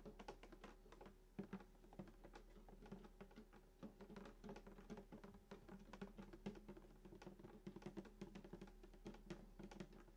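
Both hands tap rapidly with fingertips and short nails on the wooden top, just below the bridge, of a hollow sunburst acoustic guitar lying flat. The result is a dense, quiet patter of short, dry clicks over a hollow, low body resonance with a steady low hum underneath. Each tap dies away almost at once.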